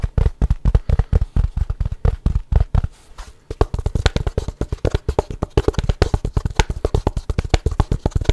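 A small, light, hollow wooden gift box with a dark insert is held up, and fingernails and fingertips tap and scratch its sides in quick bursts. The result is a rapid stream of short, dry, low, hollow knocks with almost no ring, briefly easing into quieter scratching near the middle before the fast tapping resumes.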